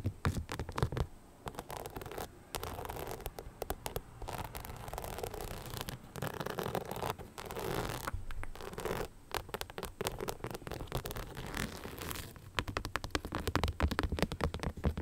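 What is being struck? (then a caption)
Rhinestone-covered knit sneaker. Long nails scratch across the rhinestone upper of an empty beige knit sneaker with a translucent rubber sole. The result is dense, gritty scratching made of rapid tiny clicks and rasps, coming in steady bursts with brief pauses. The sound is fairly soft and weighted toward the low end, with little bright sparkle.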